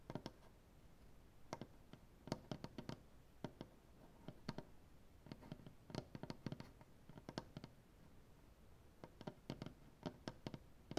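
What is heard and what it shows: Fingernail tips tap and scratch on a solid maple butcher block tabletop. Irregular bursts of sharp, dry clicking taps with bright tops sound through the whole clip, with quiet scratching and a low background hum between them. Each tap dies away almost at once.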